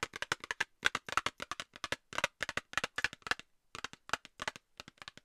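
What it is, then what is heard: Cardboard box tapped with nails. Long nails tap a small, hollow, rectangular Nivea cardboard cosmetics box held in front of the microphone. About 32 quick, dry, hollow taps come in uneven bursts, each one short with almost no ring. The sound sits in the midrange around 1.5 kHz with bright clicky edges and very little low end.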